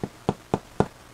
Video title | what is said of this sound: Easy Low Tech French Bread From Scratch | if it sounds Hollow your bread is done